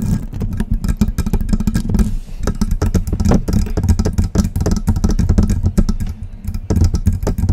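Long press-on nail tips rapidly tap and scratch the hollow silver metal body and grille of a metal USB microphone. The result is a dense run of clicky taps and scraping over a deep, low resonant hum, with bright ticks on top.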